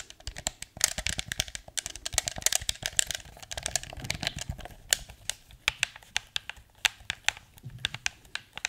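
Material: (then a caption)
Hard plastic. Fingertips rapidly click the buttons and tap the surface of a blue, hollow, hard plastic PS4 DualShock 4 controller. The result is a fast, irregular stream of dozens of crisp, bright plastic clicks and taps that stop dead with no ring, over a faint low rumble.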